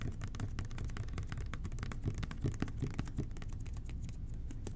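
Fingertips and short nails tap and scratch fast on the label of a hollow red plastic toilet cleaner bottle with an angled nozzle, held in both hands. The sound is a dense, irregular run of soft, dull taps with a deep low-end body and faint bright scratchy edges, each tap dying away quickly.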